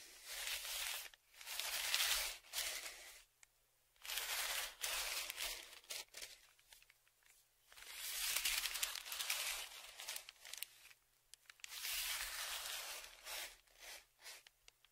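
A thin dark stick-like tool is scratched and dragged across a large, flat brown kraft paper padded mailer lying on a table while one hand holds the mailer down. Long bursts of bright, raspy, papery scratching rise and fade between short quieter pauses, with lighter scrapes in the gaps.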